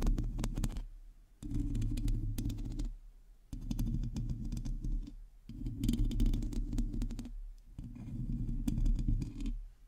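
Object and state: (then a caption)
Metal mesh microphone grille being scratched. Long teal acrylic nails of both hands scratch across a hollow domed metal mesh microphone grille. Five bursts of dense, rough scratching and clicking, separated by short pauses, give a heavy, boomy low rumble with bright crackly ticks on top.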